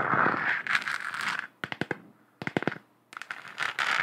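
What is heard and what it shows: Long acrylic nails scratch and tap a lit, hollow, textured plastic globe moon lamp with a galaxy print. Bright, hissing scratching strokes alternate with quick clusters of short, hollow plastic clicks that stop almost immediately.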